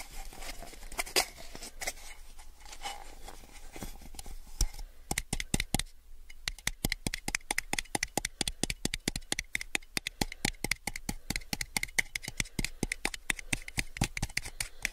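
A small, empty, hollow clear plastic cup is held sideways and tilted in both hands while fingertips and nails tap on it. The sound is a string of sharp, dry, bright clicks with almost no ring. The tapping is sparse and soft at first, then becomes a dense, rapid patter after about five seconds, following a brief pause near the six-second mark.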